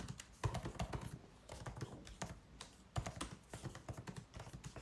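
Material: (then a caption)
Plastic. White cotton-gloved fingertips type continuously on a MacBook Pro keyboard with plastic keys set in an aluminum body. The result is a steady run of soft, short, dull key taps with a low thump and little brightness, some strokes landing harder than others.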